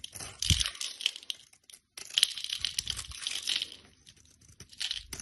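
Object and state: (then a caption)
Bar soap being scraped. A blade scrapes flakes off the face of a solid rectangular bar of soap, green and orange outside with a cream core, held in a hand with long red nails. The scraping is a dry, bright crackling and crinkling in quick bursts, with a few soft low thumps and a brief silent pause near the middle before the scraping resumes.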